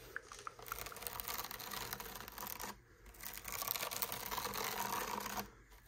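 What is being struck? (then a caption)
Woven sisal rope wrapped post. Long nails scratch the woven surface of a solid, cream woven sisal rope-wrapped post on a cat tree, with a pompom toy hanging nearby. The result is a dense, rapid, crackly scraping rich in high frequencies, running in two sustained bursts separated by a brief pause near the three-second mark before fading at the end.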